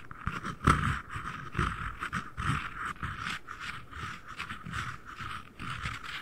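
The lid and base of a small, hollow, empty white cardboard ring box are held above the mic and tapped with fingertips and nails. The result is a steady, irregular run of soft, hollow thuds with a papery click on top, and one louder tap early on.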